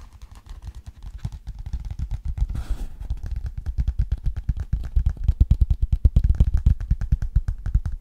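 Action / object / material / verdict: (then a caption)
tap / thin hardcover book with glossy cardboard cover / cardboard / none. A thin hardcover children's book with a glossy cardboard cover is held upright in both hands while fingertips and nails tap and scratch its cover. Rapid, dense, dull low thuds patter continuously, with a brief brushy scratch near the middle. The tapping grows louder and heavier toward the end.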